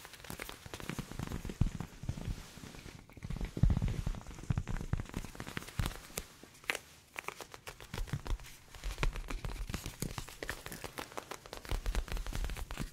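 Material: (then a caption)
Leather. Worn leather ear pads on an old pair of headphones are tapped repeatedly, giving a rapid run of soft, sticky, low tapping sounds with brief crackly clicks. The taps are short and dull, with most of the energy low in the range.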